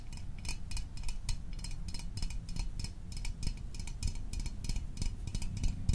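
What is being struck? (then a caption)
Small metal soda can. A small, hollow metal Fanta orange soda can held in the hands is tapped quickly with fingertips and fingernails. The taps make a steady run of crisp, bright, tinny clicks that die away almost at once, over a low, dull rumble.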